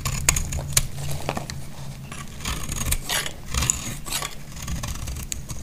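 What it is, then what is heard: Dry bar soap being cut. A solid, dry green bar of soap held in the hand is cut and scraped with a utility blade. Crisp, bright scraping and crackling cuts come in short bursts over a steady low hum.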